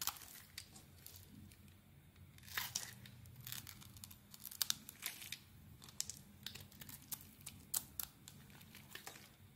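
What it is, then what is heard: Bar of soap being shaved. A white rectangular bar of solid soap is held in the hand and shaved flat with a utility knife blade, flakes falling away. Quiet, bright scraping and crisp shaving strokes come in a steady run of short, sharp peaks with very little ring, over a faint low hum.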